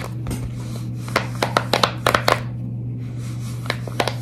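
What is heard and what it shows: Long red nails scratch and tap along the bubbles of a large silicone pop-it fidget toy, held up close and bent slightly. About a dozen sharp, distinct clicks stand out over a soft scratching texture, with a steady low hum underneath.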